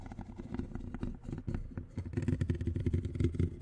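Metal tweezers held in the fingertips scratch and tap across the large, rounded black metal mesh grille on the hollow head of a condenser microphone. The result is a dense, irregular run of close, boomy scratches and taps, heavy in the low end with only faint brighter grit above. It grows busier and louder in the second half.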